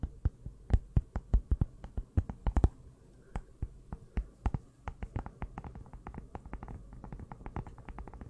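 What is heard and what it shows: Long nails tap the cover and spine of a small closed pink notebook with a cardboard cover, held in both hands. A rapid series of short, dry clicks with a low, hollow thump comes in irregular bursts, with a brief pause near the three-second mark. The tapping then continues quieter and more evenly.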